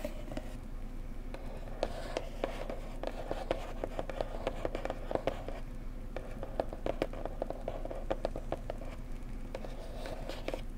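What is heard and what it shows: A blue floral cardboard mug box resting on a cloth is tapped with fingertips and long nails along its edges. Many quick, soft, dry taps and light scratches have a hollow midrange tone around 530 Hz and die away almost instantly. A steady low background hum runs underneath.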